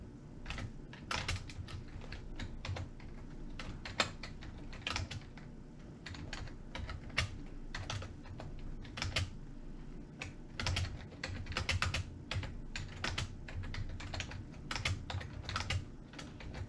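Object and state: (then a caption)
Plastic computer keyboard being typed on. Fingertips of both hands type rapidly on an old, full-size beige and grey plastic computer keyboard with hollow key switches, lying on a wooden table. Quick, bright taps and key clacks come in uneven bursts over a steady low hum.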